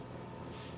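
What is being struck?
Nothing is struck.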